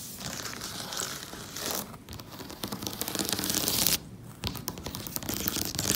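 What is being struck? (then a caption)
Assembled cardboard jigsaw puzzle lying on a table. Fingertips and nails tap and scratch across the printed surface of a large, fully assembled, colorful cardboard jigsaw puzzle lying flat on a table. Dense, bright scratchy rustling and crinkly tapping run steadily throughout, broken by brief quieter gaps near two seconds and four seconds.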